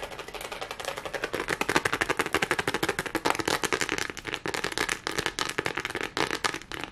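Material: Plastic.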